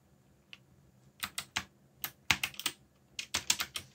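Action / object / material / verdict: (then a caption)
tap / mechanical keyboard with plastic keycaps / plastic / none. Fingertips type quickly on a backlit mechanical keyboard with black plastic keycaps. Short, bright, clacky key clicks arrive in uneven bursts, each dying away almost instantly, with little low-end body.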